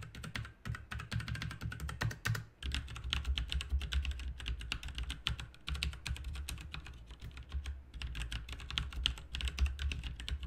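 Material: Plastic.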